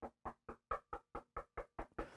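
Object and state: Resonant solid-wood guitar body.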